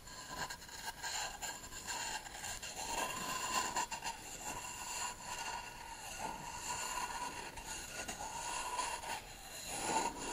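A short reed tube, held upright, is scraped and tapped across a solid beech wood plank held flat. Dry, bright scraping swells and fades in passes, with a faint ringing tone near 900 Hz and light taps scattered through.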